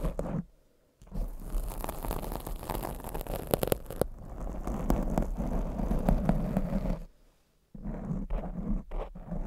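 Long blue acrylic nails scratch and tap the soft black foam windscreen over a condenser microphone. The result is a dense, muffled scraping and rustling with low rumble and scattered tap accents. The sound comes in two long bursts separated by brief silences.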